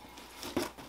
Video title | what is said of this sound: The Train Shop Weekly Vol.1 - No.4, "Passenger Car Lighting" | at least we're not hearing loose parts no but we do hear a loose train in there